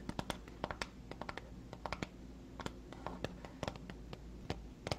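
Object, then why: Small printed cardboard box. A small, hollow, printed white cardboard box for an Emerald skincare product is held in both hands and tapped and scratched with long fingernails. Quick, dry, hollow clicks and taps come in irregular clusters, with soft scratchy rustles between them over a low steady hum. Each tap dies away almost instantly.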